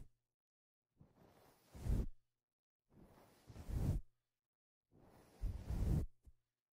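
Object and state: Nothing is struck.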